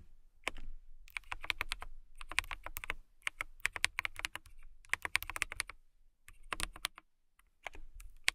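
Fingertips with long nails type continuously on a clear plastic mechanical keyboard with transparent keycaps. Rapid bursts of bright, sharp clicks with a light low thump under each keystroke come in quick runs, separated by brief pauses.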